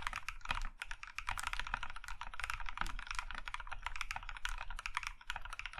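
Both hands tap with their fingertips on an Iron 165 compact mechanical keyboard, set in a maroon metal case with cream plastic keycaps and resting on a grey felt mat. A steady, fast run of short, dry clacks with bright edges and a soft low thock beneath. Each keystroke dies away almost at once.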